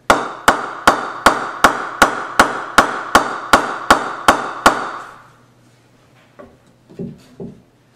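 A Mongoose Super Premium willow cricket bat is knocked with a mallet in 13 steady, evenly spaced strikes. Each strike gives a sharp, ringing ping centred around 1.1 kHz with a bright edge. After the knocks stop, a few faint softer taps follow.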